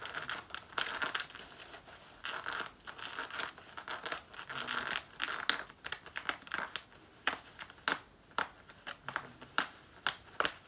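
Long nails scratch and claw the front of a black faux leather jacket worn on the body, near the waist and zipper area. The result is dense, crinkly scraping with a bright, rasping edge; it starts as a near-continuous rustle and becomes distinct, sharp strokes separated by short pauses.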